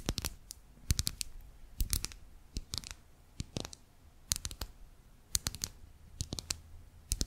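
A small pink lip gloss bottle of hard plastic, with a clear body and a pink cap, is held upright while long manicured nails tap and scratch it. Quick bursts of sharp, bright clicks with a soft low thump are separated by brief quiet gaps, and each tap dies away almost instantly.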